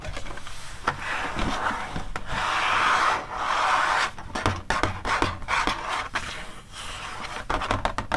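Fingertips and long nails rub and scratch across the flat, blank white inner cover pages of an open paper animal magazine. Smooth rubbing strokes build into a steady papery hiss centered in the midrange, then break into a quick series of short, dry scratches and taps.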